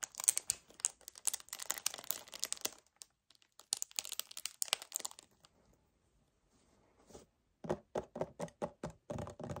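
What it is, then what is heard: Paperboard drinks carton. Fingernails grip and tap fast near the top of a hollow 1 L white paperboard kefir carton. Bright, dense crinkling scratches come in two bursts, then a near-silent pause, followed by a quick run of distinct, hollow-sounding taps with a fuller low-mid body.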